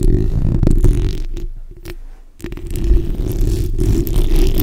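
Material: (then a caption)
Metal mesh. Long white-tipped nails on both hands scratch the backs of their nails across a black hollow metal mesh microphone head. The result is a dense, low, rumbling scratch with a brief quieter dip in the middle before the scraping swells back up.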